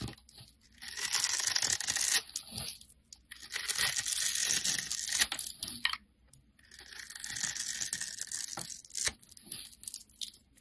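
A knife blade cuts a grid into a purple and cream striped bar soap held in the hand, then scrapes off small cubes. The result is dry, bright scraping and tearing rasps in long bursts, separated by short quiet pauses and a few sharp clicks.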